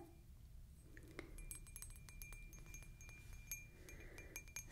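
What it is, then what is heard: Wine glass. A stemmed glass wine glass, partly filled with red wine, is held up close and tapped repeatedly on its hollow bowl with a fingertip or nail. Quiet, bright clinks and short pings ring out over a steady low rumble, with a faint sustained high ring running through.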